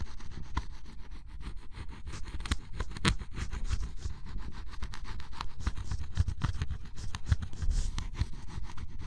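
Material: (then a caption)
Cardboard. A flat metal blade scrapes the black coating off red and orange areas of cardboard scratch-off jigsaw puzzle pieces, piling up flakes. The result is a steady, low, rasping scrape, broken by short scratchy bursts, with little ring after each stroke.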